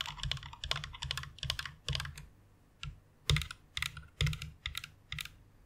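Long nails type along the key rows of a white plastic mechanical keyboard, producing irregular bursts of bright clicky keystrokes over a low thock. The typing comes in clustered runs with brief pauses between them.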